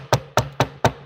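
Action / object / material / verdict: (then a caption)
knock / wooden table / wood / none. Knuckles knock four times on a wooden table, each a short, dry rap with a low thump and a brief bright click that dies away almost at once. The knocks are evenly spaced about a quarter second apart, over a faint low hum.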